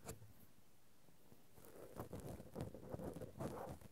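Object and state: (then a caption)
Cotton swabs scratching a metal microphone grille. Two cotton swabs scratch and rub directly on the metal mesh grilles of a Zoom handheld recorder's X/Y microphone capsules. After a near-silent opening with a single soft tap, a dense, low, muffled scratching and rustling builds from about one and a half seconds and continues in uneven bursts to the end.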